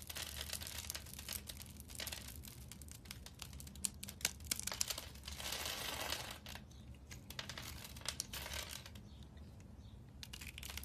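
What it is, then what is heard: Bar soap being scraped. A metal blade scrapes small cubes off a solid pink rectangular soap bar, pre-scored into a grid and held in a hand with long red nails. Dense, bright, crumbly crackling and scraping runs throughout, with sharp clicks and a brief louder hissing scrape near the middle. A faint low hum sits underneath.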